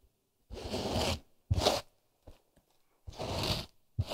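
Fingertips and nails rub and scratch the surface of a thin, solid grey polyester felt sound-absorbing panel held in both hands close to the microphone. Separate dry, rough scratching strokes, some long and some short, carry a low rumble and a bright hiss. Near silence falls between them.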